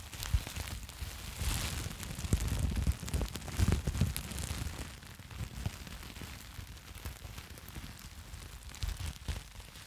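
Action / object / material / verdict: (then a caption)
scrape / plastic bubble wrap sheet / plastic / none. A sheet of plastic bubble wrap is held in both hands and crinkled and squeezed with fingertips and long nails. The result is a dense, irregular crackling with soft low thumps and occasional sharper pops. It is busiest and loudest in the first half, then settles into quieter, sparser crinkling.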